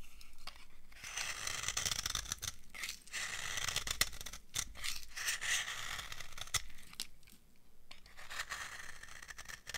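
An old, dry amber laundry soap bar held in the hand is scraped with a metal blade, shaving off crunchy flakes. Irregular, bright scraping and crackling strokes, punctuated by short sharp clicks, run throughout at a soft level, with little ring after each stroke.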